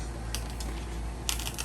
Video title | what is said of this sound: Converting an Ex-charter Catamaran to Blue Water Cruiser | You hear how crispy that is?